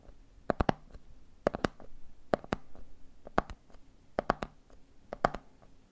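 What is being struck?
Plastic jar full of peanuts with plastic lid.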